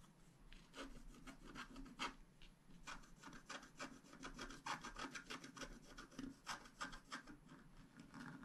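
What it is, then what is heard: Scratch art card being scraped. A flat black-coated scratch-art card lies on a table, held down by one hand, while the pointed tip of a wooden stylus scrapes across it. The result is a quiet, dry, rapid, irregular series of short scratchy strokes with a bright, papery rasp and a soft low rub beneath.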